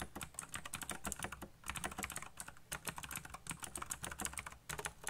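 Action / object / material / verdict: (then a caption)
tap / plastic mechanical keyboard / plastic / none. Fingertips type fast on a backlit, colorful black plastic mechanical keyboard, producing a dense run of quick, bright clicky key strikes. Each keystroke is short and dry, with a soft low thump beneath the crisp clack and brief pauses between bursts.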